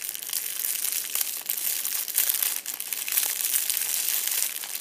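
A hand repeatedly squeezes and crumples a fist-sized purple metallic foil crinkle ball held against a fabric seat. The result is a continuous, dense, bright crinkling and crackling with almost no low end, rising and falling in short bursts.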